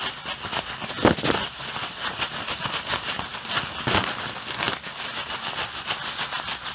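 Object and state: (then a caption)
Plastic bag of fake snow. Fingers squeeze and rub a clear plastic bag full of white granular artificial snow, producing a steady, bright crunching and crinkling. The texture is mostly high and hissy with little low end, and a few louder squeezes stand out above the continuous rustle.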